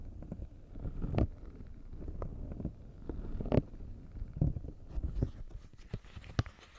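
A round, hand-sized green silicone push-pop fidget toy with hollow bubbles is pressed and popped with the fingertips of both hands, whose long nails are painted. Soft, low, muffled pops and thuds sound over a steady rumbling bed, with a few sharper pops standing out. Each pop dies away almost at once.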